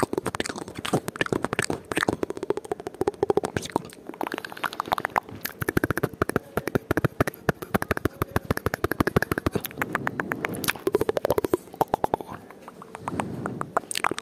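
An iPhone with a glass touchscreen, in a light-coloured case, is held in one hand while the thumb taps and swipes across the glass. A rapid, dense stream of short, dry taps and clicks runs throughout, broken by softer brushing swipes around 10 and 13 seconds.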